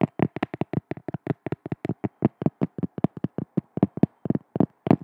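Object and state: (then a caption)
Cork tapped with fingers. A cork object is tapped with the hands in a quick, uneven rhythm. Twenty-six short, dull, woody taps are heard, each with a soft low-mid thump and almost no ring.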